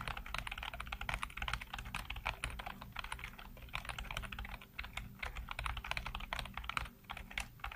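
Fingertips type rapidly on a black plastic backlit computer keyboard, producing a dense, steady stream of short, bright clicks with no ring. A low rumble sits steadily underneath the clatter throughout.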